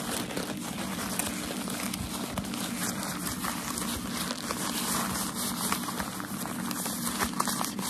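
Crumpled white tissue packaging paper from a shoe box, thin and light, is held in both hands while fingertips and medium-length nails crinkle and scratch it. The result is a steady, dense crackling rustle with bright, crisp texture over a low hum around 230 Hz, staying at an even level throughout.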